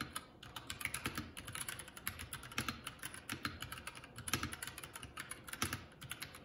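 Fingertips of both hands type continuously on a Keycool K84 75% mechanical keyboard with plastic keycaps. A rapid, uneven stream of short, bright clacks with a light low thud under each keystroke, every click dying away almost instantly. A few harder strikes stand out above the steady patter.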